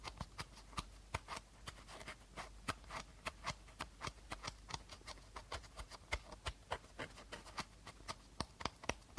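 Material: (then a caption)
Plastic. Fingertips and short nails tap and rub the body of an empty, hollow clear plastic bottle with a teal cap, held sideways. Around thirty sharp, bright clicks ring out in an uneven rhythm over a soft rustling, scratchy background. Each tap dies away almost instantly.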